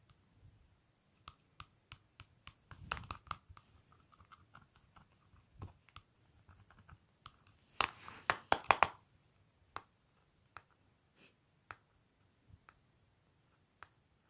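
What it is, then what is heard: Plastic cosmetic palette. Long nails and fingertips tap lightly on the clear plastic lid of a small, flat Revlon lip powder palette with a black plastic case, resting on a white surface. Quiet, sharp, bright clicks ring out one by one with pauses between them. Two faster, denser bursts of tapping and scratchy rattling come near the 3-second mark and again around 8 to 9 seconds.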